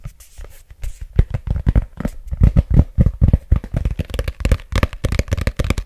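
Fingertips and nails tap and scratch the back cover of a thick, solid red paperback book with a glossy cover and a barcode on the back, held up close to the mic. A quick, uneven run of short, dull taps carries mostly deep, muffled thump, with faint bright scratchy edges between them. Each tap dies away almost instantly.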